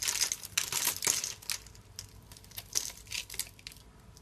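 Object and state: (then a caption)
Dry soap bar being carved. A solid, hand-sized bar of dry purple soap is held in one hand and scraped and carved with a small metal blade into grid cubes that crumble off. Bright, crisp crunching and crackling scrapes come thick and loud for the first second and a half. They then thin into quieter, scattered crumbles with short, dry bursts.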